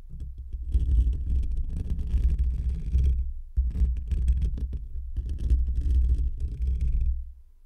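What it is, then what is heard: Metal mesh microphone grille being scratched. Short fingernails and fingertips of both hands scratch a hollow metal wire-mesh microphone grille, producing a deep, boomy rumbling scrape with faint high crackle on top. The dense scratching runs in three bursts, dropping briefly near 3.5 and 5.2 seconds, then fades out at the end.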